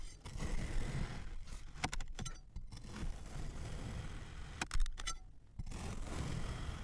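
A metal knife blade repeatedly slices and scrapes through red kinetic sand shaped like large lips, a solid, hand-sized form resting on a flat surface. A low, grainy rumble runs throughout, broken by sharp, bright scraping clicks that cluster in two bursts, near the two-second mark and again around five seconds.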